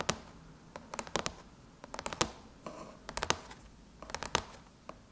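Long chrome nails on both hands tap and scratch the top of a closed silver aluminum MacBook lid. About seventeen sharp, bright clicks come in irregular clusters, with short scratchy scrapes between them. Each tap dies away almost instantly.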